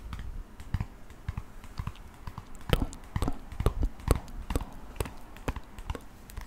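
A softcover photo book with a woman's portrait on the cover is held in both hands while fingertips and nails tap and scratch the cover. Quick, dry taps come at an uneven pace over a soft, low scratchy rustle, each tap dying away almost instantly.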